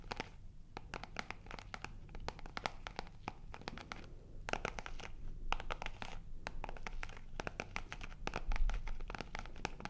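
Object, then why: Faux-leather zip wallet. A small black faux-leather zip wallet, held in both hands in front of a microphone, is scratched across its surface with long nails. The result is a steady stream of quick, crackly scratches and sharp bright ticks at an irregular pace over a soft low rumble, growing slightly louder toward the end.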